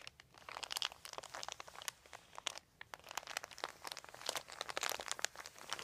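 Fingertips scratch and crinkle a large, thin, white, crumpled plastic sheet. The result is a quiet, steady stream of sharp, bright crackles and crinkles with no low end, each snap dying away almost instantly.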